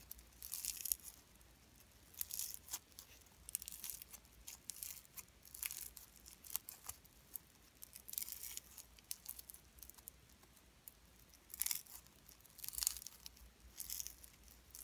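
A small pink lump of solid, soft slime mixed with fine shredded cellophane is squeezed and pinched between fingertips and nails. It makes bursts of bright, crisp crinkling and crackling over a quiet, near-silent background, with almost no low end.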